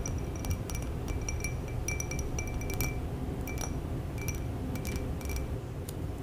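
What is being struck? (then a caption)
Small glass bowl. Fingertips and long nails of both hands tap on the rim and sides of a small round clear glass bowl holding a little yellowish liquid at the bottom, resting on a folded towel. Light, rapid clinks ring with bright glassy tones, heard over a steady low background rumble.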